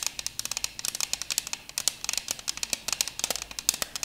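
Long acrylic nails tap and scratch a thin purple plastic CD case holding a disc. The result is a rapid, uneven series of sharp, dry, bright clicks with a scratchy edge. There is almost no low end, and each tick dies away instantly.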